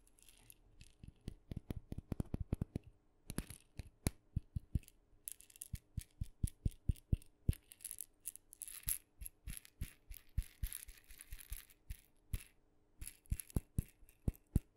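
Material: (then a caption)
Wood. A small hollow painted wooden mini maraca, red with blue dots, is shaken and tapped with long nails. Throughout, many short, dry, low taps and knocks are heard, with intermittent bursts of bright seed rattle from the shaking.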